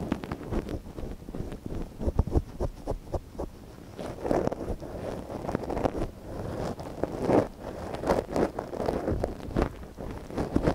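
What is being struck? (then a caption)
Silicone dummy ear on a binaural microphone, scraped with a wooden ear pick. A thin wooden ear pick, held in a gloved hand, scratches inside the ear canal of a small, hollow white silicone dummy ear on a binaural microphone. The result is a close, crackly stream of rustling scrapes and soft taps. The sound is weighted toward low and mid tones with almost no bright top.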